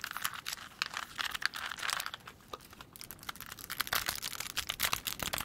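Long pointed nails tap fast on the faces of a small hand-held plastic 3x3 Rubik's cube with colored stickers and a solid mechanism. The result is a dense, rapid stream of dry, bright clicks centered around 1.6 kHz, with almost no low end and no ring after each tap.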